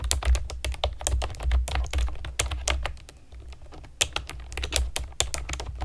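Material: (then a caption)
Plastic. A pastel plastic keyboard with round keycaps is typed on with long nails and fingertips, giving quick, sharp, bright clicks over a steady low rumble. The typing slows and softens around the middle, then picks back up with crisp taps.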